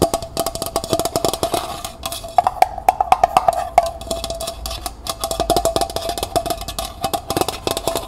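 A small, hollow, empty copper-colored metal pail, first lying on its side and then held upright, is scratched inside and tapped outside with fingernails. Quick, dense taps and scratches carry a short metallic ring near 695 Hz that dies away almost at once, with little low end.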